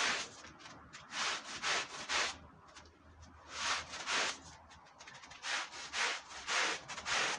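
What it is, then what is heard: Wool Persian rug being scrubbed. A long-handled push brush scrubs foam into a dirty red patterned woven wool Persian rug. About ten bright, rough, swishing strokes come in bursts, separated by quieter stretches of soft foamy rustling.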